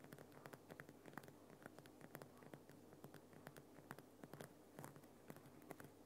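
Both hands tap and scratch with fingertips and dark nails on the rough surface of a Himalayan rock salt lamp, a large solid lump of pink rock salt lit from inside and standing on a small base. Quiet, dry, short clicks and scrapes come in a quick, uneven stream over a faint low hum, each tap dying away almost instantly.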